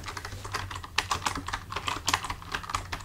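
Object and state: Plastic computer keyboard.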